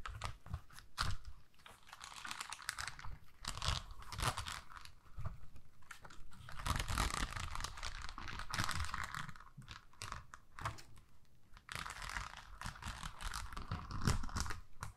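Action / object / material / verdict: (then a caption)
scrape / plastic rhinestone sticker sheet / plastic / none. Long nails scratch over the rows of gems on a flexible sheet of small pink plastic rhinestones on a backing. The result is a quiet, dense, crackly scratching with a bright, brittle edge, running in uneven bursts over soft low rumbles.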